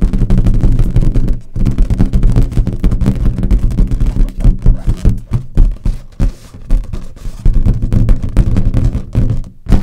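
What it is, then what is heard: Latex balloon. A large inflated green latex balloon, hollow and air-filled, is held and tapped with long nails and fingertips. The result is a rapid, irregular stream of deep, hollow thunks with short rings, carrying almost all their energy in a low boom and little brightness.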